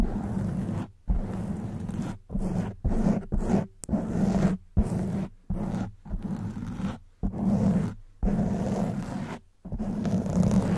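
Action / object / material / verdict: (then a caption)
scrape / foam microphone windscreen / foam / none. Long white nails scratch the surface of a soft black foam windscreen on a silver condenser microphone. The result is bursts of dense, low, rumbling scratch noise broken by brief silences, with little high-end content.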